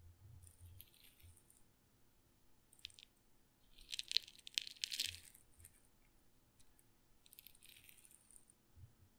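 A glass pepper grinder with a black and red plastic grinder head, partly full of black peppercorns, is held in the hand and shaken so the peppercorns rattle. Soft bursts of bright, crisp rattling come and go, with a louder, denser cluster of clicks in the middle before it fades back to quiet shaking.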